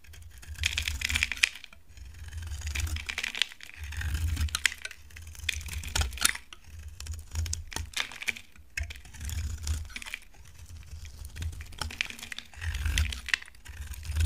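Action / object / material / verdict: scrape / laundry soap bar carved with a knife / soap / none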